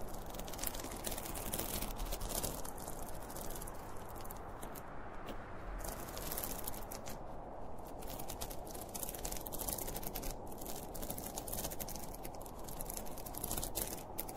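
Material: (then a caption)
Polyester fabric. Fingertips and nails scratch along the top seam of a closed, hollow zippered school pencil case made of polyester fabric with a printed cartoon panel. The result is a steady, dense scratching and crinkling texture, low and muffled in body, with bright crackly ticks scattered throughout. The level stays fairly even for the whole clip.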